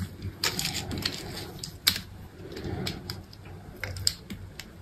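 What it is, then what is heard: Bar soap being carved. A solid green bar of soap held in the palm has long strips sliced and scraped off it with a utility knife. The cuts make crisp, bright scraping and ticking sounds in quick succession over a low, steady background. A few sharper snaps stand out among them.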